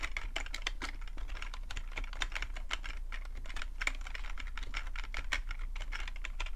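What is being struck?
Plastic computer keyboard.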